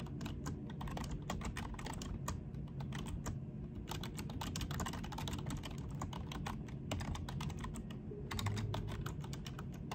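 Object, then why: Plastic computer keyboard. Both hands type quickly with their fingertips on a full-size black plastic desktop keyboard with low-profile keys; the mouse is not touched. The result is a dense, steady stream of short, bright clicking taps over a constant low rumble.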